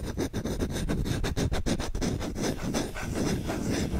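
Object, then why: Wooden spoon. Short fingernails and fingertips quickly scratch and rub the bowl of a solid wooden spoon held up close to the mic. The result is a fast, dense run of rough scratching strokes with a heavy, low, close-up body and little brightness. The strokes are separated by brief dips and keep a steady level throughout.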